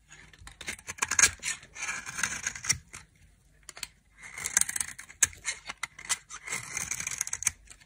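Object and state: Dry soap bar scraped with a knife.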